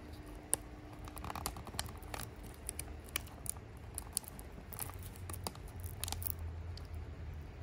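A small, empty, silver metallic foil tea sachet is held in both hands while the fingertips fold, crinkle and rub it. Quiet, bright crackles and sharp little snaps scatter irregularly over a low, steady rumble, each one dying away at once.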